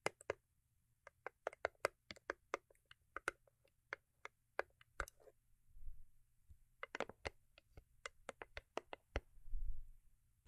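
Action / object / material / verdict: tap / small cardboard gift box / cardboard / none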